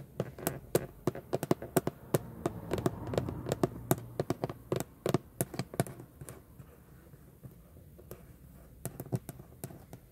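Long French-manicured nails tap and scratch the textured plastic/vinyl airbag cover on a Jeep steering wheel's center pad, a large, hollow cover with a raised chrome-plated Jeep emblem, including the emblem letters. Quick, dry clicking taps come in dense bursts over a faint scratchy rustle, thinning out midway before a few more scattered taps at the end.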